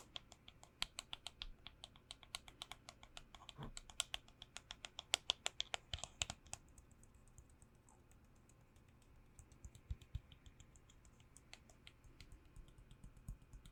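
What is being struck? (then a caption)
Plastic hand sanitizer bottle. A hand sanitizer bottle, received as a birthday gift, is tapped in a quick run of 34 sharp, bright clicks. The taps come densely for the first six or seven seconds, then thin out into scattered, quieter ones. Each click dies away almost at once.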